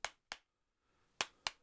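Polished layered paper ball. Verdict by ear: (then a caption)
Solid. Polished, layered paper balls are knocked together four times, giving sharp, bright clacks that stop almost instantly, with a faint rustle between the second and third hits. Though their inner layers are loose, the balls are rock-hard, like cannonballs or billiard balls.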